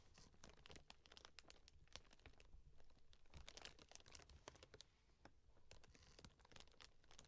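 Long nails tap and scratch the taped, labelled top of a closed, hollow corrugated cardboard shipping box with a paper label and orange tape. The result is a steady run of quick, dry, bright clicks and scratchy crinkling over a low, hollow thrum, with each tap dying away almost instantly.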